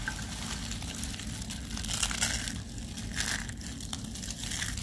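A pile of dry pale-green soap curls in a white tray, with a small pinkish soap piece underneath, is grabbed and crushed in both hands into crumbs. The result is a steady, dense crackle of bright, brittle crunches over a low rumble, with louder bursts of crumbling around the middle and near the end.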